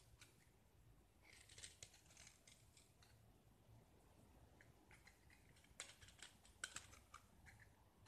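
A utility knife blade scrapes and carves thin curls off a small oval solid gypsum plaster piece, painted green over white and held in one hand. Soft, dry scratching and crisp, high-pitched shaving sounds come in irregular bursts over a low background hum, with a few sharper clicks near the end.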